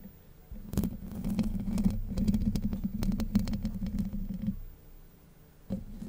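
Long white acrylic nails scratch and tap the hollow domed steel wire-mesh grille of a Blue Yeti USB microphone. The result is a dense, close, low-heavy scratching and pattering with a boomy resonance around 215 Hz, running from about 0.7 to 4.5 seconds. After a quiet gap, a brief burst of taps returns near 5.7 seconds.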